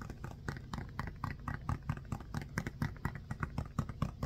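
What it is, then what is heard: Foam stress ball being scratched. A small, solid orange foam stress ball with a basketball pattern is held in both hands and scratched with short nails and fingertips. The result is a quiet, steady run of quick, dull scratching strokes, mostly low and muffled, with only faint brightness in each stroke.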